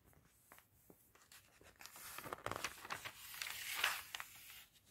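A gloved hand with red-nailed fingertips turns the pages of an open, thin glossy paper fashion catalog lying on a table. Soft, bright paper rustles and crisp page flicks build into a louder sweeping swish near the end, then fade to quiet handling.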